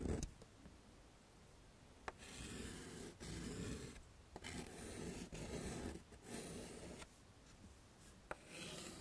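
Yellow chalk draws a smiley face and dots on a flat dark chalkboard set in a wooden frame. Soft, broadband scratching strokes rise and fall in separate bursts, with a few sharp taps where the chalk meets the board.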